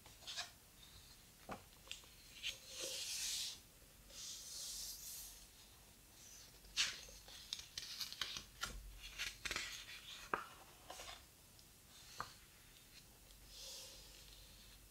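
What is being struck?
Hardcover book with thick paper pages.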